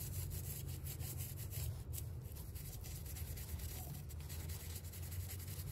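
A small hollow glass salt shaker with a pink floral decoration and a metal cap, wet and partly muddy, is held in one hand and scrubbed with a purple toothbrush. Steady back-and-forth brushing strokes give a soft, bright bristle scratch over a constant low rumble, with no clear pauses between strokes.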